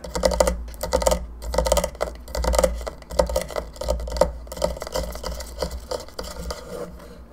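Long nails scratch and rub across the surface of a hollow plastic skull candelabra lamp, making irregular bursts of dry scraping and clicking with a hollow midrange tone. A steady low hum runs underneath throughout.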